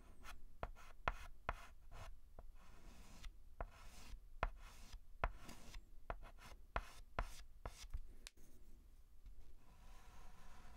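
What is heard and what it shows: A white chalk stick is scratched and rubbed across a large, flat blackboard while writing a letter. Soft, dry scraping strokes are broken by sharp, clicky taps as the chalk meets the board. The sound is quiet, with each tap dying away almost at once.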